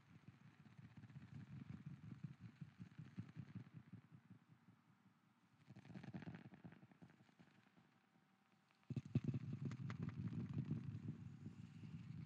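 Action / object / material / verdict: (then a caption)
tap / wooden lid / wood / none. A wooden lid is tapped in quick, dense runs of soft, low, hollow knocks with an added echo effect. The tapping comes in three bursts separated by short pauses, and the last is the loudest.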